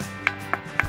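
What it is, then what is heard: Ordinary non-ringing granite rock. A granite boulder, an ordinary rock, is struck three times, giving three short, dry knocks that die away almost instantly. There is no bell-like ring, only a steady tonal background underneath. It is confirmed as a normal, non-ringing stone.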